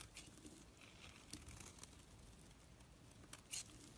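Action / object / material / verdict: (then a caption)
scrape / bar of soap shaved with a knife / soap / none. A knife shaves flakes off a solid orange soap bar held in the hand, carving the bar down. Soft, crinkly scraping runs throughout over a low, steady background rumble, broken by a few brief, bright ticks as the blade cuts.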